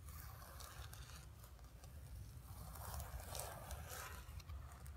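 Long nails rapidly scratch the surface of a flat painted canvas board resting on carpet. The result is a quiet, continuous dry scratching and rasping with bright crisp flecks over a steady low rumble, swelling slightly louder in the middle of the clip.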